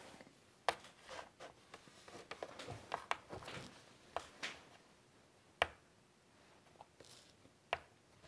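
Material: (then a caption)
Chalk. White chalk held in the fingers scratches and rubs across a large flat chalkboard in a wooden frame resting on a table. Quiet, dry strokes of scratching and rubbing alternate with sharp, bright clicks of the chalk tip striking the board. The sound is thin and mid-to-high, with almost no low end.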